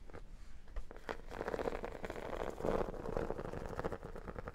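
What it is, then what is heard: Textured vinyl photo album cover. Long dark nails tap and scratch the flat cover of a square photo album with an embossed, holographic, iridescent textured vinyl cover, held in both hands. A dense, continuous run of soft taps and scratchy rasps with a muffled, mid-toned body and almost no bright edge, each contact dying away almost at once.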